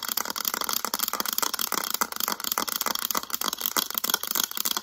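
Long acrylic nails rapidly tap and scratch the back of a mint-green hard plastic calculator. The result is a dense, fast stream of sharp, bright clicks and scratchy rasps with almost no low end, each tap dying away almost instantly.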